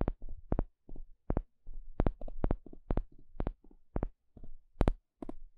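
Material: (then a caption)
Wood. A flat, thin, solid wooden spatula-shaped paddle stick is poked and scratched with a small plastic pick. It gives a quick, uneven series of dull, low-pitched taps and short scrapes with no ring, a few clicks sounding brighter than the rest.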